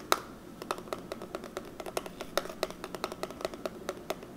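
A small, flat, rectangular eyeshadow palette, a plastic case of pressed powder pans under a clear plastic lid, is held in one hand while the fingertips and short nails of the other hand tap on the lid, and then the hands grip and handle the case. About two dozen quick, dry, hollow clicks ring out in an irregular rhythm, each with a bright edge and a faint tone around 1.3 kHz that dies away almost at once. The clicks sit over a quiet, steady hiss.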